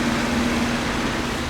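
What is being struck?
Nothing is struck.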